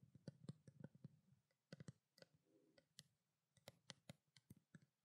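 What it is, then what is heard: Plastic skincare bottle. Long black nails rapidly tap a small, hollow white plastic skincare water bottle held close to the microphone. About seventeen quick, quiet clicks each carry a bright tick over a low, hollow body, with a brief pause near the middle. Each tap dies away almost instantly.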